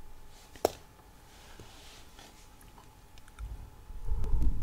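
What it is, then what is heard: Metal mesh microphone grille. A hand grips and rubs a hollow steel mesh microphone head, then long nails scratch across it. A single sharp click stands out early, followed by faint, soft rustling that grows into heavy, low, rumbling scrapes toward the end.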